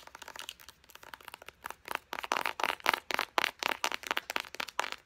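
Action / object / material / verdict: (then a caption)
tap / plastic squeeze tube of body lotion / plastic / none. Long painted nails quickly tap and scratch a hand-sized white and pink printed plastic squeeze tube of body butter, hollow and apparently filled, held in both hands. The result is a fast, irregular run of short, dry clicks and crinkly scrapes with a bright, high edge and a tone around 900 Hz, each dying away almost instantly.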